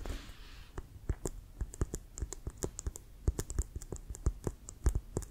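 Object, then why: Composite leather American football. A full-size, inflated, hollow brown composite leather American football with a white stripe and laces is held upright and tapped with fingertips and nails. Quick, irregular taps land throughout, each a short, dull low thump with a bright click on top that dies away almost at once.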